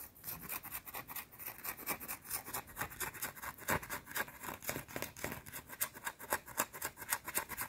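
A small, round, flat, solid white soap bar held between fingers is scratched and tapped quickly with long dark teal nails. The result is a fast, somewhat uneven stream of about four crisp clicks and scrapes per second, with bright, dry highs and almost no ring after each hit.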